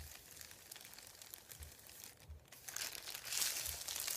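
Fingertips rub, press and crinkle a thin sheet of printed white paper resting on a wooden table. A soft, bright rustling and crinkling runs throughout, dipping briefly midway, then growing louder and busier toward the end with faint low thumps underneath.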